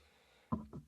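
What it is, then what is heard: Desk knocked on. Two knocks on a desk for luck, after a near-silent lead-in with a faint low hum. The knocks are dull, low thumps with a short, quickly fading ring, the first a little louder than the second.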